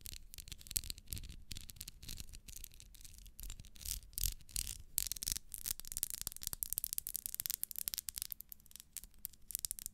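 Long nails scratch and rub the ribs of a small, solid pink ribbed wax pillar candle. The result is a quiet, steady run of dense, bright scratching strokes over a low rumble.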